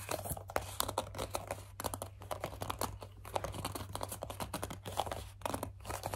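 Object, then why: Plastic pump bottle. Long dark nails grip, squeeze and scratch the sides of a medium, hollow white plastic CeraVe foaming facial cleanser pump bottle. A rapid, dense run of crinkly scratches, squeaky grips and dry plastic crackles fills the clip. A steady low hum sits underneath throughout.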